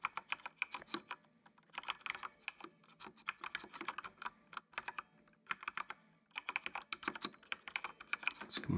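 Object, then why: Plastic mechanical computer keyboard. Fingertips type on a full-size black plastic mechanical computer keyboard with an RGB backlight, producing bursts of rapid, bright, sharp clicks that fall silent briefly between runs. Each keystroke snaps off almost instantly, with a low thump rising near the end.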